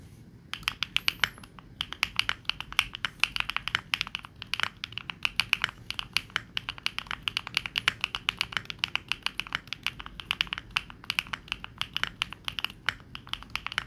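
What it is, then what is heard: Mechanical keyboard with plastic keycaps. A Neo65 65% mechanical keyboard with a gasket-mount case, linear switches, and dark and pink plastic keycaps sits on a wooden wrist rest and is typed on rapidly with the fingertips of both hands. A steady stream of short, bright clacks and taps runs throughout, with very little low end and almost no ring after each keystroke.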